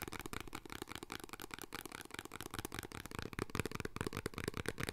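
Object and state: Cardboard snack box.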